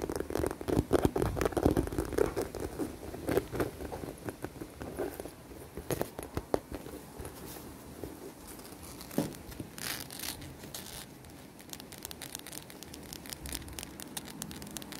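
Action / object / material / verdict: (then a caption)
tap / faux-leather handbag / faux leather / none. Long dark nails tap and scratch the flat top of a medium, hollow, dark blue smooth faux-leather handbag, then run along its strap handle. Rapid, uneven taps and crinkly scratches have a soft, hollow low-mid body. The sound is busiest and loudest in the first few seconds, then thins to quieter rubbing and occasional taps.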